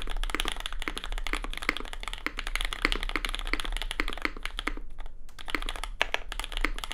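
A compact red custom mechanical keyboard with an aluminium plate and white and red plastic keycaps, resting on a desk mat, is typed on fast with the fingertips of both hands. Rapid, crisp clacks run steadily for seven seconds with a low hum underneath, and there are only brief gaps near five and six seconds.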